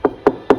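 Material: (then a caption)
Laminate, wood. Three sharp knocks on a camper-van kitchen countertop, a wooden top newly covered with melamine decorative laminate glued on with rubber cement, rapped to show how sturdy it is. Each knock is short and dry, with a mid-pitched body around 400 Hz and almost no ring. The sound is solid, showing the laminate is firmly bonded and strong.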